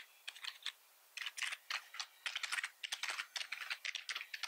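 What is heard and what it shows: Fingertips press and type on the keys of a black plastic computer keyboard. Quick, bright clicks come in irregular bursts, with short pauses between runs of keystrokes and almost no low end.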